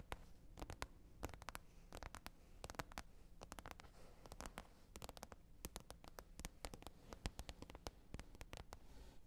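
Long red nails tap quickly across the top of a flat green plastic container lid. The result is a steady stream of short, dry clicks with bright tops over a low background hum.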